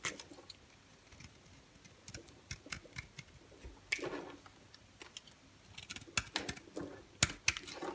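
A solid white bar of soap held in the hand has its surface shaved into flakes with a utility-knife blade. Soft, bright, crisp scraping and cutting ticks come in irregular quick bursts, with a longer rasping scrape near the middle and denser cuts toward the end.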